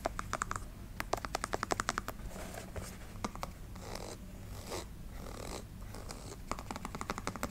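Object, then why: Canvas sneaker with rubber sole. Long nails tap very fast on the textured rubber outsole and canvas upper of a canvas sneaker with a rubber sole, making quick, dry clicking bursts. In the middle, the tapping gives way to softer, breathy scratching swells over a faint low hum. The clip ends with another run of rapid taps.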